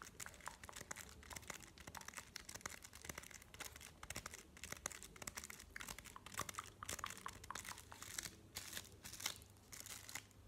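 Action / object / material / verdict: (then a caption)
scrape / chocolate bar in a paper wrapper / paper / none. A flat white chocolate bar, solid and held in the hand in its printed paper/card wrapper, is tapped and scratched with medium-length painted fingernails. Quick, dry crinkling taps and scratchy rustles come in a dense, uneven stream, bright and papery with almost no ring, over a faint low steady hum.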